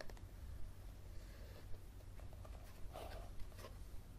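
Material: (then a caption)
Paper. Fingernails tap and scratch along the spine and cover of a yellow softcover paperback book. Soft, dry scratching and light taps come through faintly over a steady low hum, with a few slightly sharper clicks standing out.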